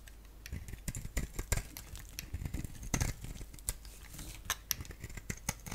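A palm-sized solid oval bar of soap, black on the outside with a bright green interior, is scraped and shaved with a box-cutter blade. The sound is a quiet, uneven run of short, dry scraping strokes and crisp shaving ticks with bright edges, each dying away almost at once.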